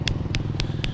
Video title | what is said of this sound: Hinding-hindi ko malilimutan ang lugar na ito / San jose, occ. mindoro | basta ganyan ang tunog hinog yan